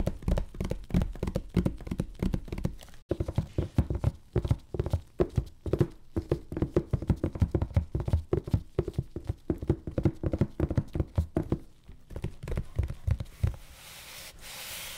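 A hollow, medium-sized taped corrugated cardboard shipping box is knocked and tapped on its top with gloved fingertips and a loosely closed fist. Rapid, dull, low thuds with very short decay follow one another in a steady, uneven rhythm. They stop near the end, leaving a faint hiss.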